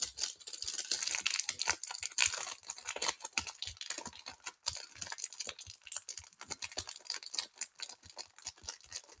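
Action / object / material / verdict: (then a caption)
scrape / chocolate bar in a plastic wrapper / plastic film / none. A single small, unopened KitKat Caramel bar in its plastic wrapper is held in both hands and scratched, tapped and crinkled with long painted nails, with open candy tins nearby left untouched. The sound is a dense, bright run of crisp crinkles, scratches and quick clicking taps. It continues steadily for about nine seconds with very short ring.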